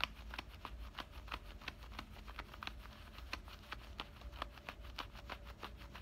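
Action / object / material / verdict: scrape / denim shorts pocket seam / denim / none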